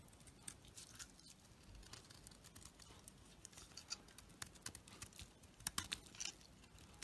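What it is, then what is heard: Bar of soap scraped with a knife. A knife blade scrapes along a solid black-coated, pale yellow bar of soap held in the hand, peeling off thin shavings. The result is a quiet, bright, crackly scraping made of many small, quick ticks and crinkles, with a few sharper snaps near the end.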